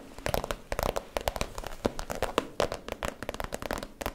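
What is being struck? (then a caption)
Vinyl plastic zip pouch. Long nails tap and scratch the crinkly surface of a small, soft, hollow iridescent holographic vinyl/PVC zip cosmetic pouch held in both hands. The result is a rapid, uneven stream of sharp, dry clicks and crackly crinkles with very short decay and a hollow midrange tone.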